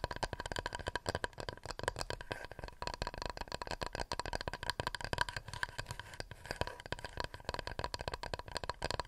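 A wooden plate is tapped rapidly and continuously with fingernails. The result is a dense run of short, dry clicks with almost no ring, and a faint tone near 1 kHz runs through the taps.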